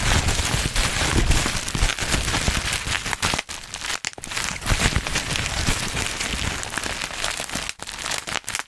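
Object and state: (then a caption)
Bubble wrap being popped and crinkled. A sheet of black plastic bubble wrap is held in both hands close to a microphone while fingertips pinch and pop the bubbles and crinkle the plastic. The result is a dense, steady stream of sharp pops and crinkly crackles with bright high hiss and a low thumpy body, broken only by a few brief near-silent gaps around 3.4, 4 and 7.7 seconds.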